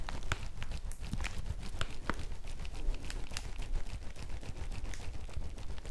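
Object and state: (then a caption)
Woven plastic bag. A folded yellow woven polypropylene bag is held up in both hands while long nails scratch it and fingers squeeze it. The result is a steady, dense crinkling with sharp, bright scratchy ticks over a low, soft rumble.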